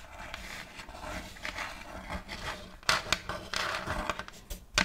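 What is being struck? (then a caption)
Thin wooden plate. Long nails scratch along the surface and rim of a round, thin plate of checkered light wood held close to the microphone. The scratching is a dry, bright rasp with a steady wash of texture. Sharper, louder strokes stand out in the second half.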